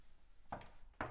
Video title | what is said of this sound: St James Plantation Harbour Town III Tour | if you can hear me knocking on this door this is a solid door into the bedrooms